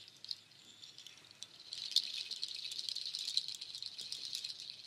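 Nut shell strands of a waterfall shaker are handled with long nails, then held up and shaken so the shells rattle against each other. Sparse, soft, dry clicks give way after about two seconds to a louder, dense, bright rattling that continues to the end. The sound is all high and crisp, with no low end and each click dying away almost instantly.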